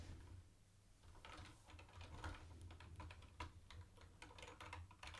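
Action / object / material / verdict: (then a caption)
tap / plastic keyboard with round plastic keycaps / plastic / none. Fingertips of one hand tap the round white plastic keycaps of a mint-green plastic retro keyboard in an irregular typing rhythm. Each press gives a short, bright plastic click that dies away quickly, over a steady low hum.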